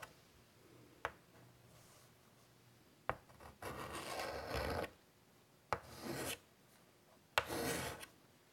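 A white chalk stick held in the fingertips scratches strokes on the dark surface of a large, flat, wood-framed chalkboard. Sharp clicks of the chalk meeting the board are followed by three longer, raspy, bright scratching strokes, with quiet pauses between them.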